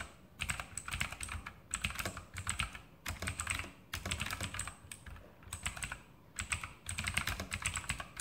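Fingertips type continuously on a full-size RGB mechanical keyboard, the Sharpshooter X2000, with Outemu blue switches and plastic keycaps on a metal top plate. Rapid, bright clicky keystrokes come in bursts with short pauses between them, and each click is followed by a soft low thock.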